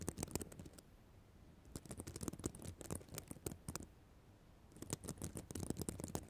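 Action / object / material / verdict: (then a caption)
scrape / plastic sequin notebook cover / plastic sequins / none. Long black nails scratch across a notebook cover of plastic reversible sequins. Three bursts of fast, crisp, clicking scratches, bright at the top with a soft low rumble underneath, are separated by short quiet pauses.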